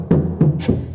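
Three knocks on the sheet-metal door panel of an Alfa 156, tested before full sound deadening even though a bit of deadening is already on the metal. Each knock gives a low, hollow thud around 156 Hz with a short ring. The panel sounds very hollow.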